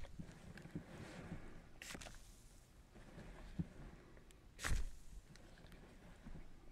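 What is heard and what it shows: A fingertip presses and rubs the air-filled bubbles of a large clear plastic bubble wrap sheet that covers the lens. The sound is a close, low, muffled rubbing and crinkling with soft scratchy textures. Occasional sharper crackles and pops stand out, the loudest around the middle of the clip.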